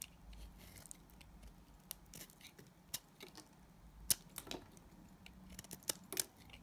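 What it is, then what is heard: Glycerin soap bar being shaved. A solid, translucent yellow glycerin soap bar, held in hand, is shaved with a utility knife blade. Quiet, crisp, bright scraping clicks and short slicing strokes come at uneven intervals over a soft hiss, each stopping almost instantly.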